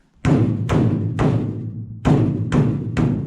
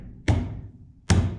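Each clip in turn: First: hollow-sounding steel car roof with only factory insulation. Second: damped car roof, solid thud.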